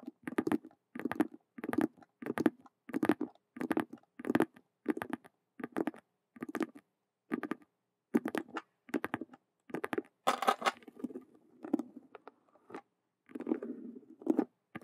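A hollow faux leather Rubik's cube handbag with stitched vinyl squares is tapped and scratched with long nails in quick, rhythmic bursts. The sound is a dull, low-mid clatter of short clicks with almost no ring. Near the end the strokes turn into brighter, rougher scratching with softer rustle between them.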